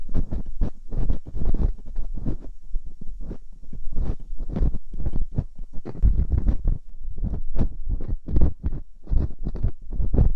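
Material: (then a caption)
Silicone. A metal dental pick and scoop scratch and scrape inside both ear canals of the two soft silicone ears on a white binaural microphone. The result is a dense series of muffled, low, close-up rubbing and scraping bursts with almost no brightness. The bursts run back to back at an irregular pace, too many to count clearly.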